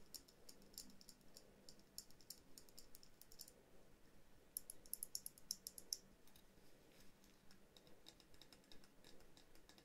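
Long painted nails tap all around a small hollow glass dome ornament with a tree and figurines inside and a jute base. The result is a quiet stream of quick, bright, irregular clicks with almost no ring, with a cluster of sharper, louder taps near the middle.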